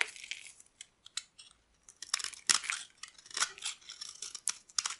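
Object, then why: Bar of soap. A solid oval bar of dry purple soap is held in the hand while a metal blade carves and scrapes flakes off its surface. The result is a series of dry, crisp, bright scraping and shaving bursts, irregular and close together, with no low end and a quick fade after each stroke.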